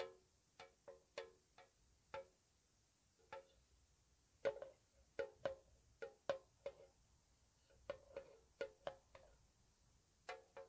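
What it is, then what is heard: Metal tea tin. Long nails tap the sides and bottom of a small, hollow, square white-painted metal tea tin, making twenty slow, soft, separate taps. Each tap gives a quiet, short, hollow ping pitched around 540 Hz with a light bright click on top, and very little low end.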